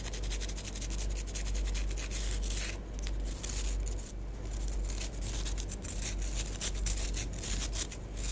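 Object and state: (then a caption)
Bath bomb. Long nails scratch a small, solid orange bath bomb with a green stripe, making a steady, dry rubbing and scratching sound. The strokes run together in a continuous, brushy texture over a low, constant hum.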